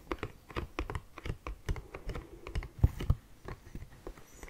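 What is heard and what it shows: An orange Kleenex cardboard tissue box, hollow, is held close and tapped and scratched with fingernails. About 21 quick, dry, uneven taps sound with very short decay, each with a hollow low thump and light scratchy clicks, a few landing harder than the rest.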